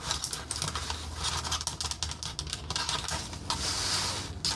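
A red painted wooden accordion peg rack with knob pegs is collapsed and expanded by hand. Its wooden slats rub and scrape together in a steady, bright, clattery rustle, broken by some sharp fingernail taps over a low hum.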